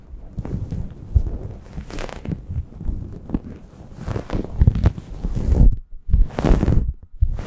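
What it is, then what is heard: Microfiber towel scratched over a microphone. A grey microfiber towel wrapped over a microphone is rubbed and scratched with long nails. The result is a close, muffled stream of low scraping and thumping with brief brighter bursts of fabric friction, sometimes fast and sometimes slower.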